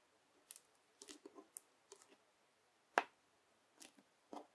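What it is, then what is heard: Bubbly slime pressed with a plastic knife. A square sheet of clear teal bubble slime has its edges pushed and pressed with a yellow plastic knife, giving a series of short, crisp crackling clicks and crunches with a bright, airy edge. One crackle near the middle stands out louder than the rest, and quiet gaps separate the bursts.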